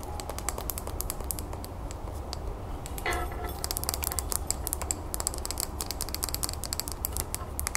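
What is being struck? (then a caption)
Small round glass bowl filled with soil and pebbles. Long nails tap fast around the outside of a small round clear glass terrarium bowl filled with soil, pebbles and a succulent. Rapid, short, bright clicks with almost no ring sit over a steady low hum, with a brief scratchy burst near the middle.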